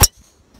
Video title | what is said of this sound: Test / Avis : drivers Titleist TSi2 et TSi3. Fast and Furious II ! | l'alliage de carbone composite et titanium et est idéal et ça sonne vraiment bien à l'impact